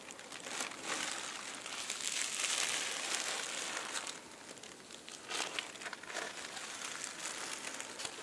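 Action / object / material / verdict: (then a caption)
scrape / thin tissue paper sheets / paper / none. Fingertips with dark-painted nails scratch and rub across a stack of thin, flat purple and pink tissue paper sheets lying on a table. The result is a continuous, bright, high crinkling and rustling with little low end, swelling louder in the middle and then settling into softer, uneven scratches.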